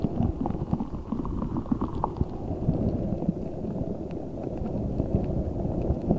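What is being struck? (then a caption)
Rubber spiky ball with gel water beads inside. A large translucent rubber spiky ball filled with gel water beads is squeezed and rubbed with both hands. It makes a steady, dense, low squishing and wet bubbling sound, with soft crackles and small pops throughout.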